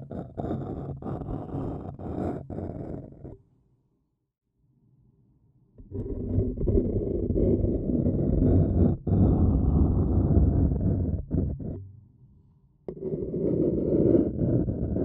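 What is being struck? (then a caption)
Paper cup. A thin wooden stick scratches the rim of a hollow, empty-looking printed white paper cup, making dense, rough, low scraping sounds. The scratching comes in three long stretches, broken by near-silent pauses at about 3.5 to 6 seconds and again around 12 seconds.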